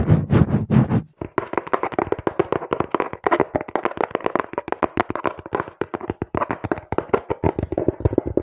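A small, hollow, apparently empty brown cardboard box is held in both hands while fingertips and nails rapidly tap and knock on its sides. After a few heavier, boomy knocks at the start, a fast, dense run of short, dry taps with almost no ring follows, steady and close throughout.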